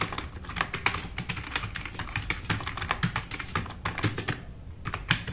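Both hands type fast with their fingertips on a compact RGB-backlit mechanical keyboard with black plastic keycaps, resting on a wooden desk. A rapid, steady stream of sharp, bright plastic clacks with a low thock underneath fills the clip, each keystroke dying away almost instantly. The typing thins briefly near the end before a few final loud key presses.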